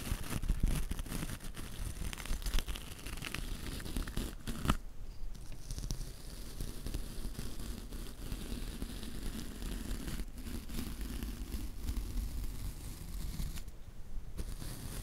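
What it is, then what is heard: Felt backing of a wool embroidered coaster. A bristle paintbrush is brushed across the flat black felt backing of a stack of round wool embroidered coasters with white wool loops at the edge, held in the hand. Steady, soft, scratchy brushing with a faint crackling texture continues throughout, over a constant low rumble, with a few slightly louder strokes near the start.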